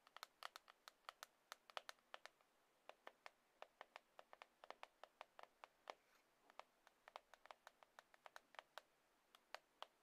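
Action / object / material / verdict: tap / glass and aluminium smartphone / glass / none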